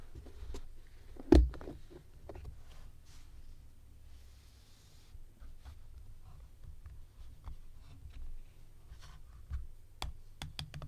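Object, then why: Translucent plastic compartment organizer box. Long painted nails tap on the closed hinged lid of a medium, flat, translucent plastic organizer box with many compartments that looks hollow and empty. The box is then lifted and opened. One sharp click stands out early over a steady low rumble, followed by scattered light ticks and faint plastic rustles.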